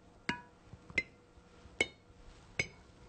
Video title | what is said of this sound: How to Make Jams and Jellies (Step-by-Step Tutorial) | You can hear that clear ringing sound. Tells me that the jars are in good shape and they're completely sealed.